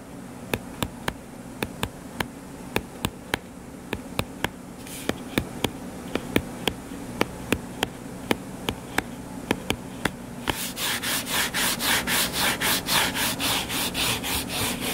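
Fingertips tap and scratch the cover of a solid, closed hardcover book lying flat on a table. For the first ten seconds, sharp, dry, separate taps ring out over a steady low hum. After that, rapid rhythmic scratching strokes take over with a brighter, hissing texture.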